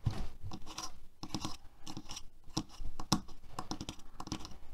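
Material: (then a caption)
Plastic. Fingertips and nails scratch and tap the handle and bristles of a black plastic hairbrush lying on a table. The result is a quick, irregular run of dry, crunchy scratches and short clicky taps that stop at once, with no ring.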